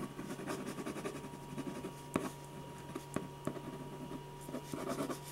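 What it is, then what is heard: Pen scratching on a paper sketch pad. A metal ballpoint pen tip scratches fine strokes across a large sheet of white drawing paper resting flat on a firm, solid board. Quick, soft scratching and pattering continue throughout, with three sharper taps standing out, over a steady low hum and a faint, constant mid-pitched tone.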